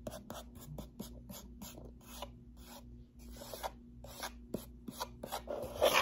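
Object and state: Cardboard box scratched and tapped.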